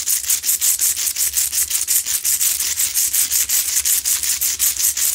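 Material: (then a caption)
Rock salt. Long nails scratch the sides of a lit, medium, solid, rough Himalayan salt rock lamp in a steady run of about 25 quick strokes, roughly three per second. Each stroke is a dry, bright, hissy scrape with almost nothing in the low end.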